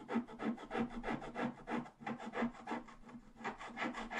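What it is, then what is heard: Scratch-art card being scratched. A wooden stylus scratches continuously across the lower right area of a flat black-coated scratch-art page, revealing the purple foil underneath. The sound is a dry, rasping scrape repeated in quick, uneven back-and-forth strokes, about three per second, each with a faint low tone near 234 Hz and no ring afterward.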